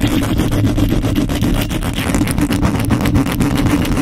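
Long nails and fingertips scratch fast and aggressively across the hollow metal mesh grille of a microphone. The result is a dense, continuous rasping scrape with rapid rhythmic strokes, heavy in low rumble with a steady hollow tone around 277 Hz. The level stays loud and even throughout.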